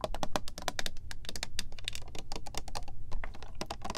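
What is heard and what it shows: Long nails tap quickly across the gold cap and clear square plastic body of a partly filled Supermodel body mist bottle. The result is a steady run of short, bright, clicky taps with almost no ring, over a constant low hum.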